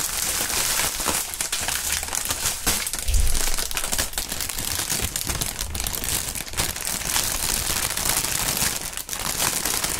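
A large, thin sheet of clear plastic air-pillow packing film with green print, partly inflated, is held up and crumpled and squeezed between both gloved hands with bare fingertips. It gives a steady, dense crinkling and crackling that is bright and hissy, over soft low thumps and rustles. The crackle swells briefly near the three-second mark, then continues evenly throughout.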